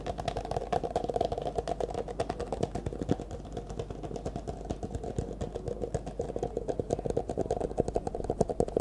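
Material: Plastic.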